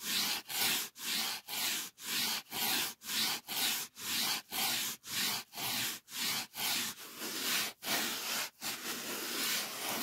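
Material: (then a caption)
Polyethylene foam. Fingertips rub the surface of a thick, solid white polyethylene packing foam sheet in steady back-and-forth strokes, about two per second. Each stroke makes a bright, hissy, squeaky rubbing sound. The strokes are cleanly separated at first, then blur into a more continuous rub toward the end.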